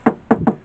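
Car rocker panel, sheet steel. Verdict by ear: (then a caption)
Cracked. Knuckle knocks on the visibly cracked underside rocker panel (sheet steel) of a Renault Mégane Scénic MK1 give three short, dull, hollow knocks with a low tone near 220 Hz that die away almost instantly. The panel sounds hollow, but not like a normal rocker panel, which suggests hidden damage or corrosion beneath the surface.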